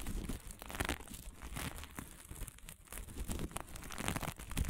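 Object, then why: Sequin-covered fabric. Long nails on both hands scratch quickly across a small patch of fabric covered in green and blue sequins. The result is a dense, continuous crinkling and scratchy rustle with bright clicks from the sequins over a soft low rumble, swelling and dipping in loudness throughout.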